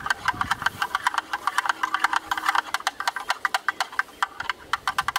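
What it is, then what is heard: Plastic camera lens hood tapped with sticks. Two thin yellow sticks rapidly tap and rattle inside the opening of a hollow, black, rectangular plastic camera lens hood. The result is a fast, dense stream of sharp, dry clicks with a hollow mid-range clack and bright edges. Each click dies away almost instantly.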